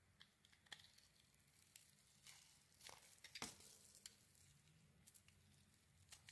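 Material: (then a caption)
Soap. A solid rectangular white bar of soap with a glitter coating is held in the hand and scraped and shaved with a metal blade. The clip is a quiet series of bright, crisp scraping and crackling strokes, some sharper than others, with a faint low hum underneath.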